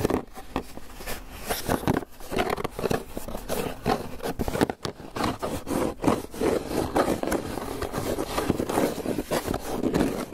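A closed, hollow, white polystyrene foam clamshell takeout box is held in both hands and tapped and scratched with fingertips and nails. The result is a continuous run of dry, squeaky scraping and quick tapping that sits mostly in the mid range with little bright content. The taps and scratches shift between softer and harsher strokes throughout.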